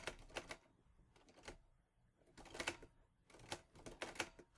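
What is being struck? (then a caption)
Metal manual portable typewriter. Fingertips type on the keys of a mint-green Olivetti Lettera 22 portable typewriter with a metal body and paper loaded. Bursts of sharp, bright metallic key strikes come in quick clusters separated by short quiet pauses, each clack dying away almost instantly.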